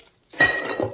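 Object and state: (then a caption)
Metal dustpan. A metal dustpan from a dustpan-and-brush set clinks as it is handled, giving a bright metallic ring around 1.9 kHz. The clink rises out of near silence about 0.4 seconds in and fades over a short scraping tail.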